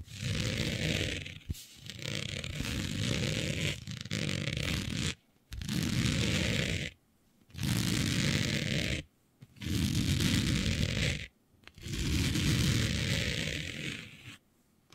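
Long nails scratch across a smooth synthetic fabric with a planet print laid flat, making rasping, scratchy strokes. The sound has a low, rumbling body and a bright hiss on top. Sustained bursts of scratching are separated by brief silent pauses.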